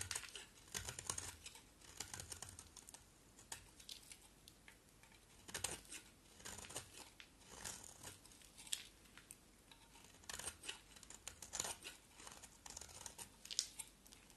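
A round, solid red striped bar of soap with a black coating is scraped with a box cutter blade held in the hands. Quiet, bright, crisp scraping and crackling come in short irregular bursts, with sharp little clicks like soft tearing and almost no low end.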